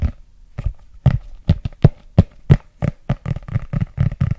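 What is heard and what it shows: Fingertips and nails tap and scratch the back cover of a thick red paperback book with a glossy cover and a barcode on the back, held solid and up close. The result is a quick, uneven run of dull, low, dry taps with no ring, with soft scratchy rustles between them that grow denser toward the end.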